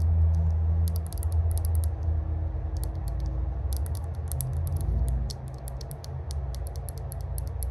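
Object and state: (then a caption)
Metal herb grinder tapped with nails. A small, hollow, cylindrical rose-gold metal herb grinder with an engraved "Spark" lid is held in the hands while its flat lid is tapped and scratched with long glossy burgundy acrylic nails. Quick, irregular, bright clicking taps come in bursts over a steady low rumble.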